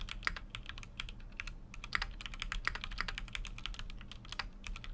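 Continuous fingertip typing on a full-size Keychron Q6 mechanical keyboard with an aluminum case and plastic keycaps. Rapid, short, bright clicky keystrokes fall in an uneven rhythm with no ring after each press, over a steady low hum.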